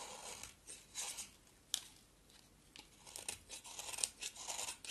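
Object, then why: Soap bar shaved with a blade. An oval, solid yellow bar of soap is shaved with a box cutter blade in scraping strokes. The result is a series of quiet, bright, dry scraping and crunching bursts with almost no low end, including a few sharp clicks.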